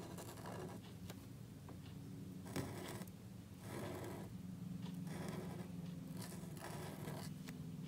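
A gold calligraphy marker nib rubs and scratches across a small, thin black cardstock card lying flat on a white table and held down by one hand. Irregular bursts of dry, bright scratching rise and fade as the marker writes, over a steady low hum.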